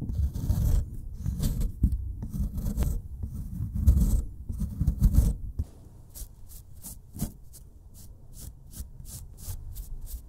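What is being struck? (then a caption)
Plaster excavation block. A metal pick scrapes a solid plaster excavation block, then a paintbrush brushes it before the pick scrapes again. Loud, rough, gritty scraping with a deep low rumble fills the first half. It gives way to quieter, rhythmic short bright strokes.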